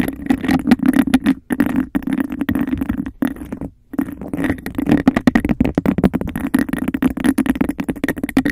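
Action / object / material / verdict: scrape / embossed glass cup / glass / none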